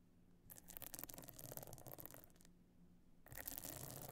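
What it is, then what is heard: Stone-chip encrusted clutch bag. Long nails scratch the stone-chip encrusted top of a closed, pebble-encrusted metal-frame clutch bag lying flat. Two bursts of dense, bright, crackly scraping are separated by a short quieter pause, with a faint low hum underneath.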